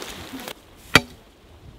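During archaeological prospecting on a heath, a probe rod is driven into the ground and strikes a stone buried just under the humus. After a brief stretch of faint rustling, one short, sharp, bright click rings out and dies away almost at once. The probe "sounds stone," confirming a stone lies just beneath the surface.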